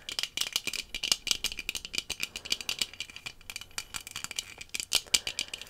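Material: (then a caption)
Plastic. Rectangular sunglasses with dark tinted lenses, worn on the face, have their lenses and frame tapped quickly with long fingernails. About 38 rapid, bright, clicky taps sound in uneven bursts, each sharp and dry with almost no ring and no low end.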